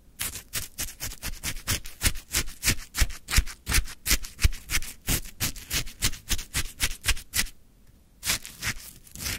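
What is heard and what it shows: A wooden stick scrapes and digs into a full plastic cup of crunchy frozen lemon shaved ice. It makes a quick, steady run of bright, gritty crunching strokes, each with a dull low thump. The strokes pause briefly near the end and then resume.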